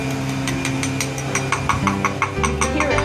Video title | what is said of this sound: Water Under Sliding Glass Patio Door Track & Spalling Issue | this is going all the way the whole length causing this bubbling you can hear it